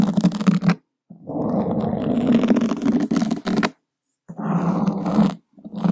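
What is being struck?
Foam microphone windscreen scratched with a wooden skewer.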